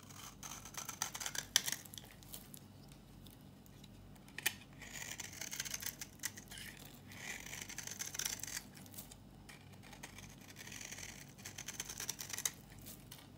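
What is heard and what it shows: A solid, dry red bar of soap is shaved with a knife held in the hand, and crumbly flakes fall off. Bright, dry scraping strokes come in bursts with small crackling snaps over a quiet, low background hum.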